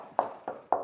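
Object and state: Hollow-sounding sprayed hemp-lime wall.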